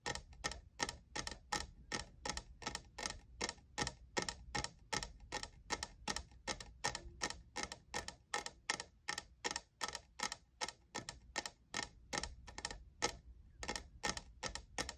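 Fingernails tap rapidly on the sides of a hollow, lavender, diamond-textured plastic cold cup, producing a steady stream of sharp, bright clicks with a tone near 1.8 kHz. Each tap is short and dry with almost no ring, over a faint low hum.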